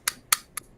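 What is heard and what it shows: A herb grinder made of aircraft aluminium is tapped three times, giving short, bright metallic clicks with almost no ring and no low end. The aircraft aluminium is said to give it a distinctive sound.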